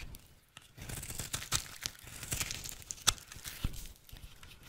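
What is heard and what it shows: A utility knife blade carves flakes from a rectangular, solid, dry red soap bar held in the hand. It makes a series of crisp, bright scraping and tearing cuts with crumbly crackle and a few sharper snaps. Each stroke stops quickly with almost no ring.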